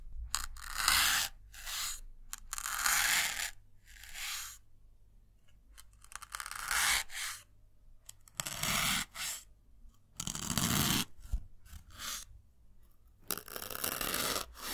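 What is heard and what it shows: A thin metal needle pierces and drags through a small white solid melamine foam block held in the fingers. Irregular bursts of bright, dry scratching and tearing crunches come and go with short pauses, over a faint, steady low rumble.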